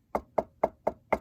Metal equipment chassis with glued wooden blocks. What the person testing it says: when i knock on it it sounds as if i was knocking on wood